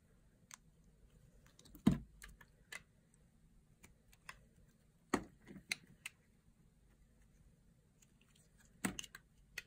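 A solid bar of dry green soap, held in the palm, is shaved into curls with a small blade. About fifteen crisp, crunchy cuts and scrapes come at irregular intervals, each a short, bright snap that dies away quickly. Faint low hum sits underneath the quiet cuts.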